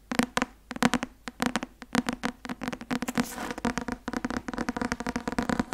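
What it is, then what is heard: Paperback textbook with card cover. A thick paperback law textbook, "Öffentliches Recht" (Academia Iuris), with a white and blue card cover and a solid paper block, is held upright in one hand and tapped on the cover with the fingertips and nails of the other hand. Dozens of quick, dry taps come in uneven bursts, each with a dull mid-low thump and a short, bright clicky edge from the nails. The taps die away almost instantly with no ring.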